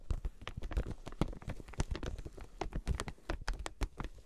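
Long nails tap rapidly on the clear plastic packaging of a flat quilted fabric item with card tags. The result is a quick, typing-like patter of short, dry clicks with a low thud and almost no ring.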